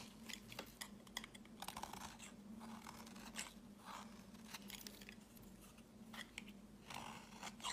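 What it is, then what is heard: Bar of soap being shaved. A snap-off utility blade shaves thin, fibrous strands from a solid white bar of soap held in the hand, with a green soap bar lying nearby. Repeated soft, crunchy scrapes with a bright, crisp edge come in quick bursts over a steady low hum.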